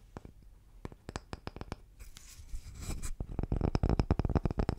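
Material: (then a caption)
Wood. A round, palm-sized, solid cross-cut wood slice with a bark rim is tapped and scratched with fingertips and nails. Sparse, dull, low knocks give way to about a second of dry scratching, then a fast, uneven flurry of louder taps.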